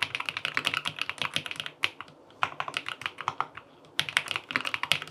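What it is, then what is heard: Aluminum mechanical keyboard with plastic keycaps. Fingertips type on a QK80 tenkeyless mechanical keyboard with an aluminum case, cream and peach plastic keycaps and linear switches, resting on a desk. Rapid, crisp, bright key taps come in bursts with short gaps. Each press is sharp and dies away almost instantly with little low end.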